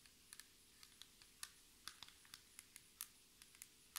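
A flat, solid black textured tabletop, likely laminated board, is tapped with the long red nails and fingertips of both hands. Sixteen short, bright clicks come at an uneven pace, each dying away almost instantly over a faint steady hiss.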